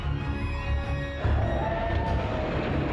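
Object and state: Nothing is struck.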